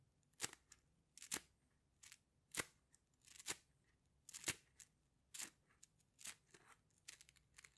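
A rainbow plastic slinky, a hollow coil, is compressed and released between the hands, making its coils click. Quiet, bright, short clattering bursts come in irregular clusters with very little low end.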